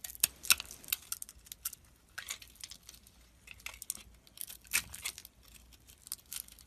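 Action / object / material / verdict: scrape / solid bar of soap cut with a metal blade / soap / none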